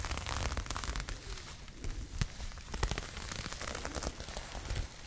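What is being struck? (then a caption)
Crocheted yarn bag. Long nails scratch and rub a pink crocheted yarn bag held close to the mic, making a dense, continuous crackling rustle. Bright scratchy ticks ride over a heavy low rumble, with a few sharper scrapes standing out.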